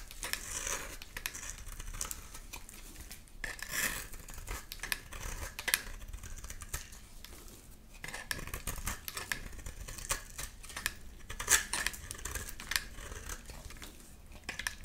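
A metal blade cuts curls and shavings from a solid mint-green bar of soap held in the hand. Soft, dense scraping and crisp cutting ticks come in quick succession, with bright hiss and a faint ringing tone near 1.7 kHz.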